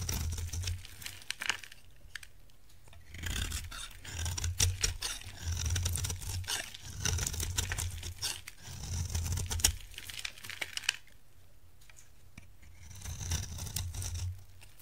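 A utility knife blade cuts and scrapes a solid, dried orange bar of soap, and brittle chips crumble onto a pile. Bursts of dry, crunchy scraping and crackling with a bright, gritty edge come in waves over a steady low hum. There is a quieter pause near the end before one last scraping pass.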